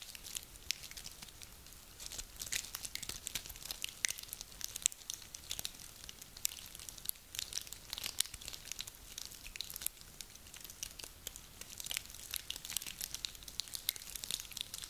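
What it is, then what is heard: Dry pine cones. A handful of small dry pine cones is held in both cupped hands and squeezed and rubbed together with the fingers, so the scales grind and crackle against each other. The result is a quiet, continuous stream of dense, bright, dry crackles and crunchy snaps with almost no low end, each click dying away instantly.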